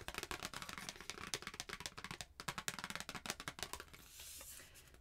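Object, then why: Paper greeting card. A flat white handwritten paper Christmas card, held in both hands, is tapped and scratched with long painted nails and fingertips. Rapid, crisp, bright clicks and dry scratches follow each other closely. A softer, steady papery scraping takes over near the end.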